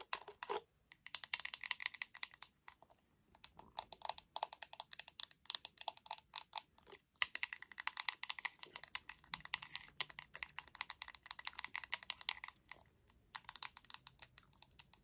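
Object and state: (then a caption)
Plastic hairbrush. Long red acrylic nails tap rapidly on the glossy back of a hot pink hollow plastic paddle hairbrush. Dense bursts of bright, sharp, dry clicks follow one another with brief pauses between runs, each tap dying away almost instantly and leaving no low-end body.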